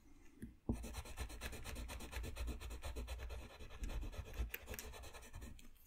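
A colored pencil scratches and rubs across a thin, solid sheet of flat white drawing paper lying on a desk while coloring. After a quiet start and a sharp contact just before the first second, a dense run of quick, papery scratching strokes continues steadily with a dull low thump underneath. It eases off near the end.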